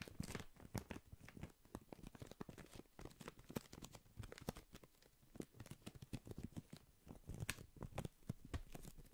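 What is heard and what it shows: A small, hollow, transparent plastic pencil case or zip pouch is held in both hands close in front of the mic while fingertips squeeze, tap and crinkle the plastic. The result is a steady stream of dense, crisp crinkles and crackles mixed with quick dull taps, each sharp and dry with almost no ring, over a soft low-heavy body.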